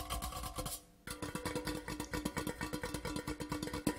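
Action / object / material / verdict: tap / metal tin tube / metal / none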